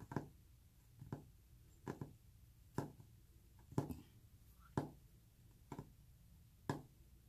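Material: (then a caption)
Wood. Fingernails tap on a wooden surface at a slow, somewhat uneven pace, giving about ten short, dull knocks with a low, woody thump and very little ring. A soft purring sound runs underneath.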